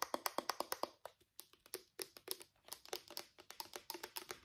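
A small hollow grey-purple plastic Nivea travel bottle with a pink cap is held in both hands and tapped and scratched with fingertips and short nails. About 28 quick, dry, hollow clicks come in an uneven run with a brief pause near the first second. Each tap has a bright edge and dies away almost instantly, with faint scratching between them.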